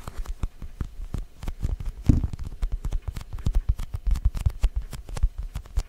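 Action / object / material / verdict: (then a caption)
tap / soft foam pumpkin toy / PU foam / none. Fingertips and short nails tap rapidly on the surface of a small, solid orange Halloween foam squishy pumpkin toy, likely soft PU foam. The result is a dense run of soft, muffled, low thuds with almost no ring, each tap dying away instantly, with one slightly fuller, louder squish near the middle.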